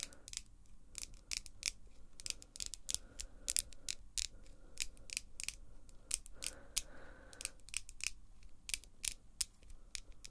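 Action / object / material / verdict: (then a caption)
tap / acrylic false nails / acrylic / none. Long pink acrylic false nails click and tap their tips together, with the hands held near the face and no other object touched. A quick, uneven run of sharp, bright clicks with almost no ring sits over a faint low background hum, and a soft rubbing scrape briefly swells between the taps.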